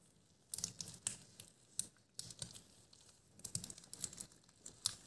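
Thin, stretchy light green latex gloves worn on both hands are clenched, squeezed and rubbed against each other over a wooden table. The result is quiet, bright crinkling and stretching sounds in a series of quick, sharp bursts with short pauses between them.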